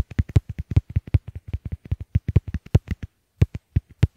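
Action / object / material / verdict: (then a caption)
tap / small plastic earbuds / plastic / none. Fingertips tap both of a pair of small white hollow plastic Apple EarPods earbuds at once in quick bursts, the earbuds serving as the recording microphones while resting on a wooden table. About 28 short, dull, deep thumps sound in irregular rapid runs, each dying away almost instantly, with a brief pause near the end.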